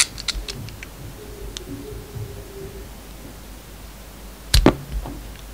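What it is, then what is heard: Bar of soap being shaved. A solid bar of soap with a red coating and a yellow inside, held in the hand, is shaved with a metal utility knife blade. Faint, crisp ticks and light scraping over a low, quiet background build to a sudden pair of sharp, bright cracks near the end, followed by a softer scrape.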